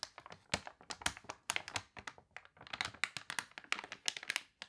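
A page of a glossy paper toy catalog with wavy pages is turned and crinkled, and fingernails rub across the open spread. Quick, dry crackles and light taps follow one another closely, bright and crisp with almost no low end and no lingering ring.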